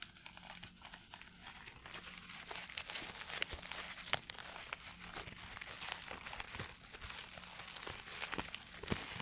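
A white paper tissue, held in both hands, is crumpled and rubbed by fingers close in front of a microphone. Steady bright crinkling fills the clip, punctuated by many quick, sharp crackles over a faint low hum.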